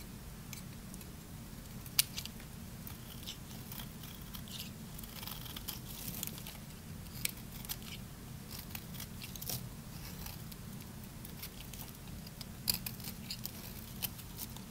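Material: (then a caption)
Soap. A solid, dry, pale green Lux bar soap, hand-sized and held in one hand, is scraped and shaved with a small metal knife blade. The result is crunchy flakes, with quick, dry, high-pitched scraping crackles and sharp clicks over a steady low hum.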